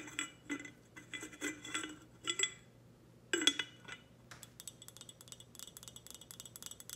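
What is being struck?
Glass tumbler.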